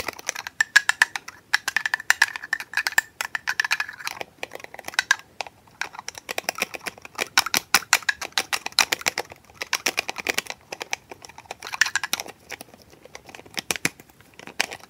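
A small hollow white plastic bottle with a threaded neck and a shiny metal screw cap is held in the hand while the cap is repeatedly screwed on and off and tapped against the neck with the fingers. Rapid, dry clicks and taps come in fast bursts, with a faint scraping whine near 1.7 kHz during the twisting. Each click is very short and bright with no low end.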